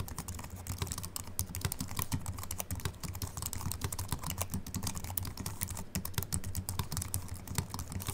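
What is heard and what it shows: A slim Apple Mac keyboard with an aluminium body and white plastic keys is typed on continuously with the fingertips of both hands. It produces a rapid, steady stream of short, dry, bright key clicks that stop almost instantly. Beneath them sits a low, steady hum.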